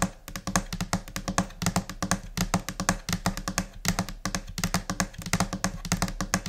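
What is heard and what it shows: Long nails and finger pads tap in scattered, chaotic rhythms on a flat, solid white laminate desk surface. Quick bright clicks mix with dull low thuds that die away almost instantly, forming a steady stream of uneven taps.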